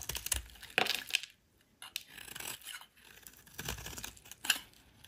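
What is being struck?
Bar of soap scraped with a metal blade.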